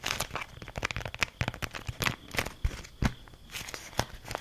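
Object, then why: Beeswax-coated cloth wrap. A folded, beeswax-coated cloth food wrap is held close and scrunched and crinkled with fingertips and nails. It gives a dense run of crackly, papery crinkles and sharp little snaps, bright with some low thumps, each dying away almost instantly.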